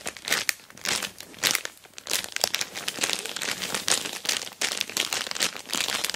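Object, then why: Plastic mailer bag over a box. Long black nails scratch and fingers rub quickly across an orange plastic Temu mailer bag wrapped around a box. The crinkly plastic gives a dense, bright, dry crackling and rustling in rapid uneven bursts, with almost no low end.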